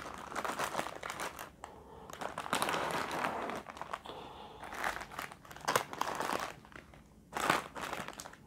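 A full, unopened, palm-sized sealed plastic film packet of Indomie Kari Ayam instant noodles holding a dry noodle brick, lying among other packs, is tapped and scratched with fingertips and short nails. Bright crinkly plastic rustles come in uneven bursts, with a louder stretch of crinkling near the middle and a sharp crunchy burst toward the end.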